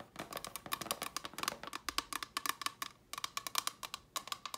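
Long fingernails tap rapidly on a small, hollow, empty, clear rigid plastic box held in the hand. A quick, irregular run of many sharp, bright clicks carries a hollow tone near 1.1 kHz and dies away almost instantly. There is a brief pause just before the three-second mark before the tapping resumes.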